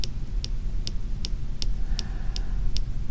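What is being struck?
Plastic and steel fountain pen.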